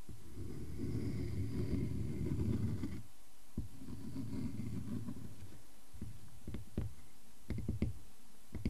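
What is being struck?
Wooden log slice.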